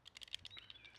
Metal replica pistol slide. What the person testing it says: You can definitely hear it if you shake it around.